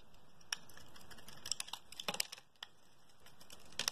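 A metal blade scrapes thin curls off the surface of a solid, translucent pink oval bar of soap, palm-sized and held in hand. A series of sharp, bright, dry ticks and scratchy clicks sounds over a quiet hiss, bunching together in the middle and again at the end.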